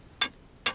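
A long micro bar taps the rock at an abandoned mine portal as a tap test, giving two sharp, bright, high-pitched clicks that die away almost at once. The rock at this spot is firm and stable, unlike a nearby spot that sounds hollow.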